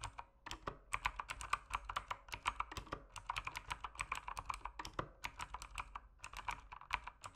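Fingertips type continuously on the keyswitches of an RGB mechanical keyboard with plastic keycaps resting on a desk. A rapid, uneven stream of short, sharp clacks, each with a bright tick and a midrange clatter near 1.2 kHz, dies away almost instantly, leaving little low end beneath.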